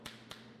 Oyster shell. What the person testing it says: that's Hollow that's the bad one